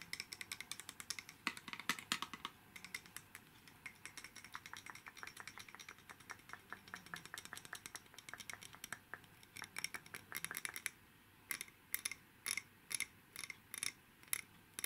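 A red glass wine bottle about 30 cm tall, hollow and empty except for a lit LED string-light wire inside and with twine tied around the neck, is held in one hand and tapped with the fingertips and nails of the other. It gives a rapid run of light, bright glassy clicks and taps with very short ring, and the taps grow sparser toward the end.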